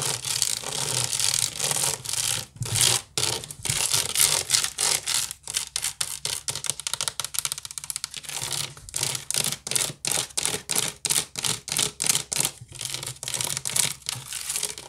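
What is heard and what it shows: Long nails scratch and rub quickly across the weave of a large, hollow woven wicker basket. Dense, bright, rasping strokes come in rapid bursts with short gaps between them, over a faint low hum.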